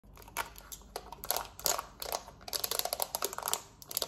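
Long acrylic nails tap and scratch fast across the rubber buttons of a small, hollow, black plastic Samsung TV remote held in the hand. A rapid, uneven stream of bright, dry clicks and scratchy rasps fills the high frequencies with almost no low end. Each tap dies away almost instantly.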